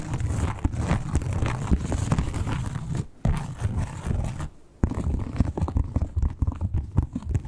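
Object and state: Textured leather wallet being scratched and tapped.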